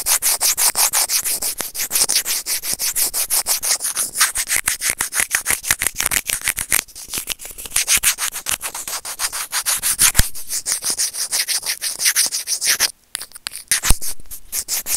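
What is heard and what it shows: Serrated plastic tweezers scratch a small, hollow, white plastic earphone inline microphone remote in rapid, repeated strokes. The result is a steady, bright, raspy rubbing with little low end, broken by a brief pause near the end and a couple of sharp clicks.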